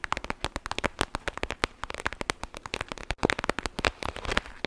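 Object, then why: Clear plastic pouch filled with gel beads. A clear plastic pouch filled with gel beads is squeezed and crackled with long nails. A rapid, dense run of sharp, dry crackles and pops follows, each bright and broadband and dying away almost instantly. The clicks keep an uneven rhythm throughout, with no lingering ring.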